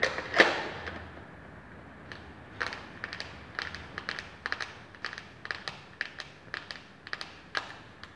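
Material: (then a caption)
Plastic. A small, flat rectangular plastic eyeshadow palette with a clear lid, held in the hands, is tapped with long painted fingernails. Quick, uneven clicks follow one another, sharp and bright, with very little low end. They begin with a louder tap and continue as a steady patter of light taps.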